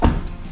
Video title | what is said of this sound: "1300만 원 감가" 새차같은 BMW X3 타고 싶은 사람? 감가폭탄 터졌습니다 - 중고차 구매대행 | 이런 둔탁한 소리가 나야 되는데